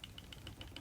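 An authentic plastic Nintendo DS game cartridge with a loose chip inside is shaken, giving six light, quick rattling clicks with a bright high edge over a low background rumble. The slight rattle marks it as a genuine game, since fake cartridges do not rattle.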